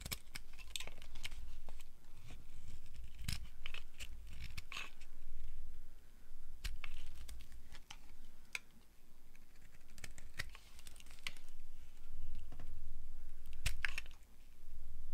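A solid mauve bar of dry soap, held in the hand, is carved into sticks with a flat blade. The result is a steady run of crisp scraping, crunching cuts with bright crackly edges over a low hum.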